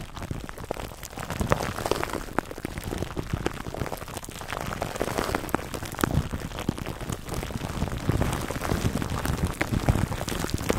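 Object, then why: Plastic cling film over a foam microphone cover. Fingertips and nails scratch and rub clear cling film wrapped over a black foam microphone windscreen. The result is a steady, dense crackle of small sharp crinkles and pops over a low, muffled rumble, lasting about eleven seconds.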